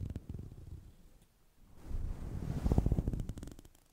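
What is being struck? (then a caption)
Synthetic fur microphone windscreen. A black plastic fine-tooth comb held in the fingers brushes and scratches across a fist-sized, fluffy grey-white synthetic fur windscreen over a microphone. The strokes come through as soft, muffled, low rumbling scratches with almost no brightness. The sound dips to near silence around the middle, then returns as louder, denser combing strokes that peak and gradually fade.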